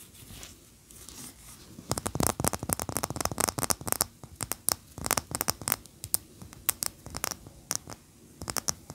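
Long natural fingernails of both hands scratch and tap a large cream solid wax pillar candle standing upright on a towel. A soft, faint scratching opens the clip, then rapid, bright, crisp clicks and scrapes follow in quick bursts. Each tap stops dead with no ring.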